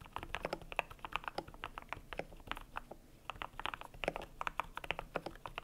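Fingertips type on a cream compact mechanical keyboard with PBT plastic keycaps. A steady run of short, dry clacks with a bright upper-mid tone, each dying away almost instantly, pauses briefly near the middle before the typing resumes.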